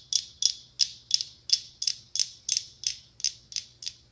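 A small hollow pumpkin ornament covered in glass mosaic tiles is held in one hand and tapped and scratched with long acrylic nails. Twelve bright, high clicks ring at about three per second, each with a brief scraping tail.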